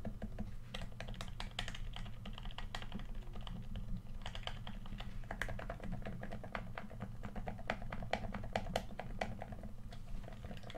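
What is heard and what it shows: Fingertips of one hand tap rapidly on the touchpad and body of a red, hand-sized, hollow plastic PS4 controller. The taps are quick, light plastic clicks with short, bright ticks. They run continuously over a steady low hum throughout.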